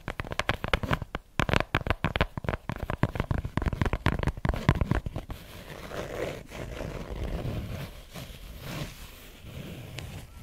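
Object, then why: Fabric-covered hardcover notebook. A purple and black patterned fabric-covered hardcover notebook, solid and held upright, is tapped on the cover with long nails, giving a rapid run of sharp, low-heavy clicking taps for about five seconds. The nails then scratch across the fabric cover, giving a softer continuous rasping scrape to the end.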